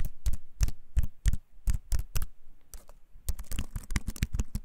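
Fingertips press the keys of a compact, solid wooden-framed computer keyboard held up in both hands, producing continuous typing taps. Each tap is a short, dry click with a deep low thump and a bright top, fading almost instantly. The taps come in an uneven, fairly quick rhythm that bunches together toward the end.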